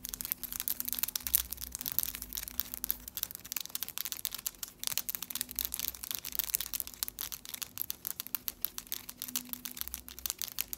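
Long, solid stiletto acrylic press-on nails with patterned polish are tapped and clicked together repeatedly, tip against tip across both hands. The result is a dense, steady stream of short, bright clicks with almost no ring, over a faint low hum.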